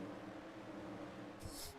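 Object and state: Nothing is struck.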